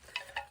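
A thrifted coconut-shell wind chime shaped like a crane with bobble-head babies is jangled. It gives two quick, bright, hollow clinks that ring only briefly before fading.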